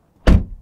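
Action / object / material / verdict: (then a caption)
strike / metal car door shut from inside / metal / solid. A 2023 BMW M2 door is shut from the inside, giving a single deep, solid thunk. The low sound dies away within about a tenth of a second.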